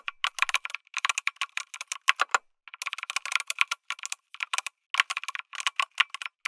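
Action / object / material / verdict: tap / mechanical keyboard with aluminum case and plastic keycaps / plastic / none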